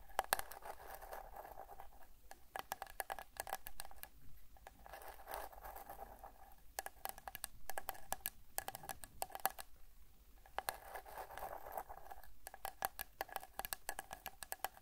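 Long nails tap and scratch the face of a small, light, hollow plywood box with an engraved moon design, held in both hands. Quick, dry clicks with almost no ring come in dense bursts, separated by a soft scratching hiss and a faint tone around 790 Hz.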